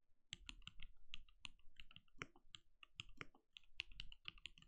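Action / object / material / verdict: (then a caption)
tap / mechanical keyboard with plastic keycaps / plastic / none. Fingertips of both hands type rapidly on a compact backlit mechanical keyboard with plastic keycaps and a translucent glowing case. Each key tap gives a short, dry click with a low thump underneath and a bright top, dying away almost instantly. The taps come quickly one after another in an uneven, steady typing rhythm.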